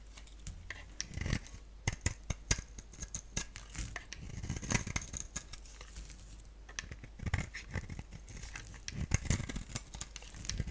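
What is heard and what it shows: A palm-sized rectangular bar of soap, black on the outside with a pink-striped interior, is shaved into strands with a box-cutter blade. Quick, dry scraping clicks and crisp snaps repeat in uneven bursts, with a bright crackle over a low rumble.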